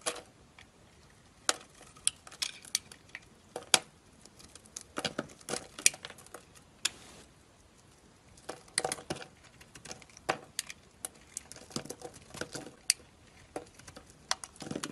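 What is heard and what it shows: A metal utility-knife blade scrapes and carves flakes off the surface of a solid, rectangular, dark-green/black bar of soap held in one hand. The sound is a quiet run of bright, crisp scratches and sharp clicks in irregular bursts, separated by near-silent pauses. Each scrape stops almost instantly, with no ringing.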